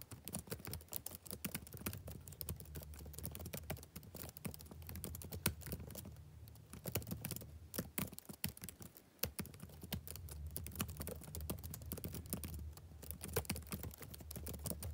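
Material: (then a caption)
Plastic. Fingertips type rapidly on the backlit plastic keys of a laptop keyboard, producing a dense stream of short, crisp clicks and taps. A steady low hum sits beneath the typing, which slows briefly around the middle before resuming at a quick pace.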